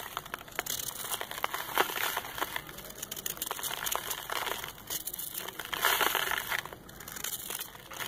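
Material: Sand.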